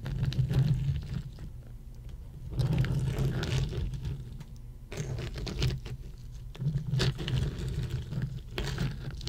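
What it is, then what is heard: Ice cubes. Long nails tap rapidly on a row of solid ice cubes resting on a red mat, moving like typing. Quick, light clicking patters come in several bursts separated by quieter stretches, over a steady low hum.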